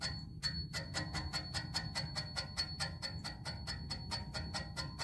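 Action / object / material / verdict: tap / metal music stand tube / metal / none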